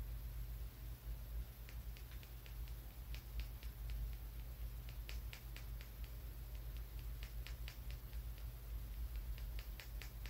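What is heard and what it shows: A small, solid, glossy brown polished tumbled stone is held between fingers against a textured wall and tapped and scratched with a fingernail. Quick, irregular, bright clicking taps sound over a steady low hum and faint scratchy rustle.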